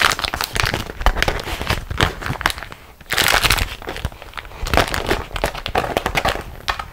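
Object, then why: Beeswax-coated cotton wrap. Hands with long acrylic nails squeeze and crumple a printed beeswax-coated cotton food wrap, a thin flexible waxed fabric sheet, into a bunch while it lies on another wrap of the same material. The result is dense, bright crinkling and crackling in quick irregular bursts, briefly easing just before the three-second mark before picking up again.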